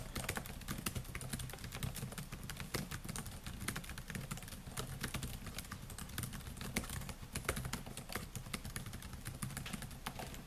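Fingertips type rapidly on the black plastic keys of a solid silver laptop, making a dense, continuous stream of quick, sharp, bright clicks and taps. A steady low hum runs underneath throughout.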